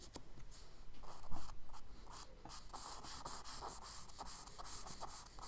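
A charcoal stick held in the hand makes fast, scratchy hatching strokes across a page of a spiral kraft paper sketchbook. Quick, uneven bursts of dry, bright scraping repeat over a soft low rumble, keeping a quiet, steady level with one slightly louder stroke early on.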